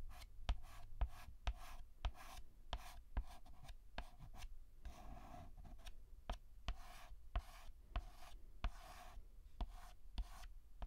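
White chalk held in hand scratches across a black chalkboard in short hatching strokes, filling in a letter. Each stroke brings a dry, bright rasp, with sharp ticks as the chalk meets the board and a soft low thud underneath. The strokes repeat in a quick, uneven rhythm throughout.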